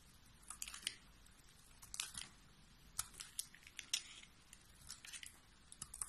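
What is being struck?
Soap bar.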